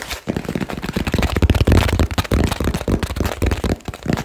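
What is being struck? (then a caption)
Small cardboard box. A small cardboard box with a barcode label and blue tape is held in both hands and tapped fast and aggressively with fingertips and nails. The result is a dense, irregular stream of dull, hollow thumps mixed with dry crackly clicks, heavy in the low end and dying away almost instantly after each strike.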